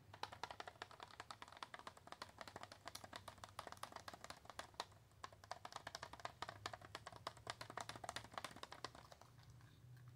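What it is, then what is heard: Cardboard and plastic blister pack tapped with nails. Long acrylic nails rapidly tap and scratch a small, flat L.A. Colors Nail Frill retail pack of press-on nails, a cardboard backing with a clear plastic blister holding the nail tips, held up in the hand. Dense, fast clicks with sharp, bright attacks die away almost instantly over a faint low hum, the tapping running continuously with brief lulls.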